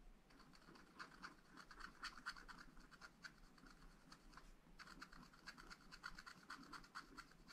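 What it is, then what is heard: Scratch-art paper being scratched. A wooden stylus scratches lines into the black coated page of a scratch-art paper sheet in a spiral pad. Quiet, irregular rasping strokes carry a bright, papery scrape centred around 1.5 kHz, with a brief lull just before the five-second mark before the scratching picks up again.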